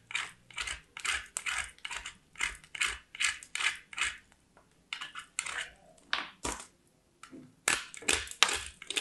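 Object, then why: Soap bar on metal box grater. A small, solid white soap bar is scraped repeatedly against a small metal box grater, with fingers with black nails holding both. The result is a quick series of dry, bright, rasping strokes with almost no low end. Each stroke cuts off sharply, with a couple of brief pauses between bursts.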